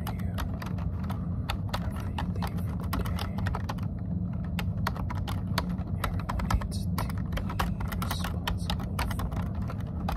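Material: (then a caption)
Plastic. Both hands type continuously on a plastic computer keyboard, fingertips with short nails tapping the keys. Rapid, crisp key clicks run throughout over a steady low hum, with no pauses.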